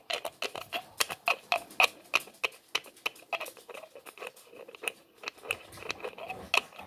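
A small, empty or nearly empty clear plastic bottle with a threaded neck and white label is held in both hands while fingertips twist its white plastic screw lid along the threads and rub it. This produces an irregular run of quick, dry, bright clicks and scratchy ticks, with a faint tonal ring around 2.5 kHz, each sound dying away almost instantly.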